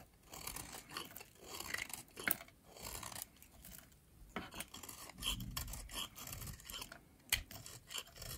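A metal blade shaves crumbly flakes off the remaining piece of a pink, oval, solid, dry soap bar. The sound is a quiet, bright, dry scraping and crackling in uneven bursts, with a few sharp clicks standing out.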